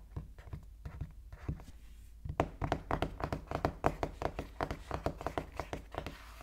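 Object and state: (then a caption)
Cardboard phone box. Fingertips knock and tap on the back of a small sealed cardboard iPhone 13 Pro Max box with dark print, lying on a wooden table while both hands rest on it. A quick, uneven run of dull, hollow, low thunks and taps dies away almost instantly. The taps are soft for the first two seconds, then grow firmer and louder.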